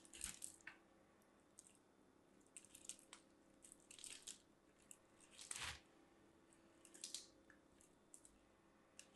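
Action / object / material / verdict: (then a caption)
scrape / soap bar on metal grater / soap / none. A mint-green striped solid bar of soap is grated on a small metal box grater held in hand, with fingertips pressing the soap into it. Repeated bright, dry scraping strokes come in uneven bursts, with crisp high crunches over a quiet, low hum.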